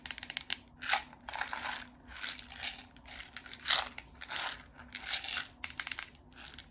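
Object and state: Container of coffee beans.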